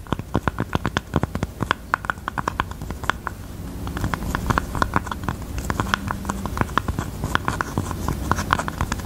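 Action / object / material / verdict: scrape / velvet-covered heart-shaped jewelry box / velvet / none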